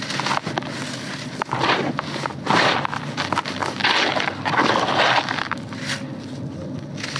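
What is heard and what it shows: Hands dig into dry red soil in a grey bucket, crumbling solid, porous dirt clumps and letting the granular dirt pour between the fingers. The sound is a steady, dry, gritty crackle with louder crunchy bursts as clumps break, and a bright hiss as the grains trickle down.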